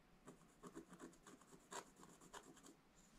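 A wooden stylus scratches lines into a black coated scratch-art paper page in an open book. Short, dry rasping strokes come in an uneven series, with a bright, papery hiss above a midrange scrape. Each stroke stops almost at once, with no ring.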